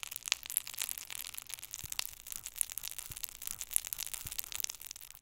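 A flat wooden stick scrapes and crushes already partly crumbled purple glitter pressed eyeshadow in a small round black plastic compact. The result is a dense run of dry, bright crackling scratches and crunches, almost entirely high-pitched, with little low end. Occasional sharper crunches stand out above the steady gritty texture.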